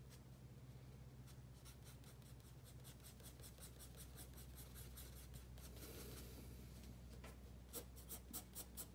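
A wooden pencil held in the fingertips rubs and scratches short shading strokes on a page of a spiral-bound paper sketchbook resting on a wooden table. Quiet, bright, papery scratches come in a quick, uneven rhythm over a steady low hum, with a brief hiss of rubbing in the middle. A few sharper, louder strokes close the clip.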